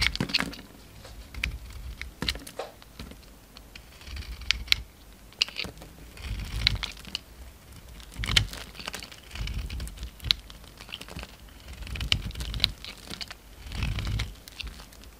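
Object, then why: Bar of soap. A utility knife blade shaves curls off a solid cream soap bar with a glittery brown coating, held in the palm. Dry, crisp scraping and crackling cuts come in quick bursts, bright and snappy with soft low thuds beneath and almost no ring after each stroke.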